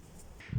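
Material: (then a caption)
Body tissue. Percussion down the right side of a human chest reaches the level of the fifth rib, where the lung overlaps the liver. After a quiet stretch, a short, dull, low thud around 150 Hz sounds with almost no ring. This dullness over the liver is a normal finding.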